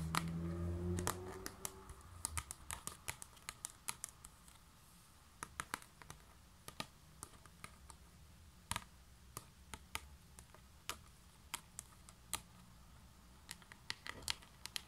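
Long manicured nails and fingertips tap and scratch across the thin, hollow-backed white paper pages of a standing spiral-bound desk calendar on a cardboard stand. Dozens of sharp, bright clicks land at an uneven pace over a soft papery scratching bed. A low hum fades out after the first two seconds.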